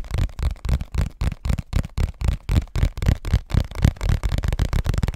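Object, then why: Cardboard tissue box. A hollow cardboard Scotties tissue box is held in both hands and tapped with fingertips and nails. It gives a quick, uneven run of dull, low, boomy thumps with a faint papery scratch on top. Each tap dies away almost at once.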